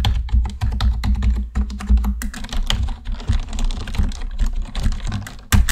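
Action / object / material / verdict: tap / plastic computer keyboard / plastic / none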